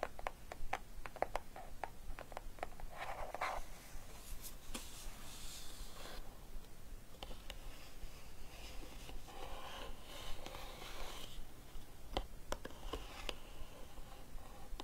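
Long nails scratch and tap across the lid of a small, closed, hollow green cardboard gift box decorated with an orchid. Quick, sharp clicking taps come in uneven bursts, mixed with soft papery scratching strokes over a low, steady background hum.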